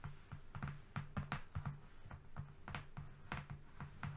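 Fingernails tap rapidly across a flat brown cardboard strip. The quick, dull taps have a low, hollow body with a brief bright click on each strike, and each one dies away almost at once.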